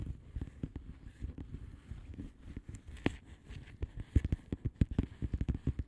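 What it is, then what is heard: Plastic bubble wrap envelope. Long nail tips tap and lightly scratch across the bubbles of a flat blue plastic bubble wrap envelope. The result is a quiet, irregular patter of soft, dull taps, mostly low and muffled, that die away almost instantly. Faint scratchy crackles sit between them, with the taps growing firmer and more frequent toward the end.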